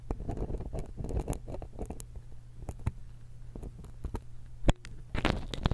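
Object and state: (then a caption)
Metal stereo microphone capsule scratched with a pick. A steel dental pick scratches and pokes the end of a small silver X/Y stereo microphone capsule held in one hand. The result is close, low, muffled scraping and rubbing with a steady low hum underneath. Short sharp clicks are scattered through it, and a louder burst of scratching comes near the end.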